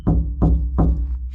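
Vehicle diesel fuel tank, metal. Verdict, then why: Empty. Three hollow, low-pitched knocks on the diesel fuel tank of a motorhome that has sat abandoned for 12 years, each ringing briefly with a deep boom. The tank sounds empty. Background music plays underneath.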